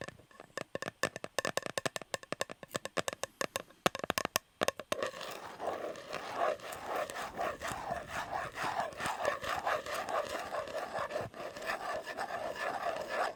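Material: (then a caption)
Metal. Fingertips tap on the shiny metal lid of an unopened Fortnum & Mason fruit cake tin with the cake still inside, with sticky tape on the rim adding to the sound. About five seconds of quick, separate, dry taps give way to a continuous rapid flurry of tapping and light scratching. Underneath runs a faint hollow metallic tone in the mid range.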